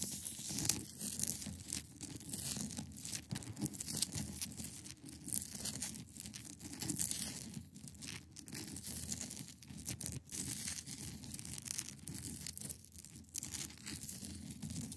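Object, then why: Block of ice. Long pointed nails scratch across the top of a large, solid, clear ice block resting on a fabric surface. A steady stream of dry, crackly scraping fills the clip, bright and hissy up top over a low rumbling body. Short strokes overlap with no pauses between them.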